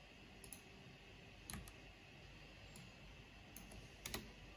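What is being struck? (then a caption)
Plastic mechanical computer keyboard. Slow, sparse tapping and clicking on a full-size black plastic mechanical computer keyboard with a purple backlight and hollow housing, typed with long painted fingernails and fingertips. Five short, bright clicks stand out over a low, steady background hiss, each with a hollow low thump and a quick decay.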